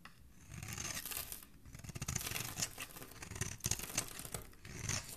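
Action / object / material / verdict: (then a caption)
scrape / bar of soap / soap / none. A flat metal blade scrapes across a solid, palm-sized pink soap bar held in one hand with dark-painted nails, shaving curls off its surface as the bar is carved. Dense, crisp scraping and shaving rasps come in quick, overlapping strokes with a bright, textured edge and a soft low-end rustle, briefly easing between passes.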